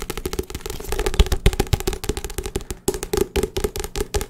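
A hand-sized, solid paperback book with paper pages and a glossy card cover is held up and tapped fast with fingertips and nails on the cover and pages. The result is a rapid, uneven stream of short, dull, low thuds mixed with crisp nail clicks, each dying away almost instantly.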